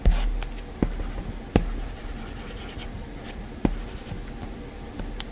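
A plastic-tipped Apple Pencil taps and scratches in small strokes across the flat glass touchscreen of an iPad. Short, sharp taps come at irregular intervals over a soft, low, continuous scratching.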